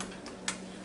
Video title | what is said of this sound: NINJA FOODi and DRUMSTICKS, EVER ONE LOVES A CHICKEN LEG | you hear how crispy it is that's nice and crispy